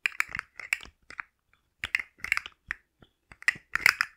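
A hand-sized, rainbow segmented hard plastic slug fidget toy with hollow jointed segments is held in one hand and flexed and tapped with long manicured nails. Quick, dry, bright clicks and crackles of the segments come in short clustered bursts with brief pauses between. Each click dies away almost at once.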